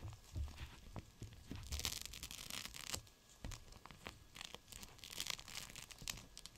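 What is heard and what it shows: A gel bead cold/hot pack, a clear plastic pouch full of beads, is squeezed and scrunched in one hand. It makes bright, crinkly plastic crackling with soft low thumps and rustles. The short bursts come and go unevenly throughout.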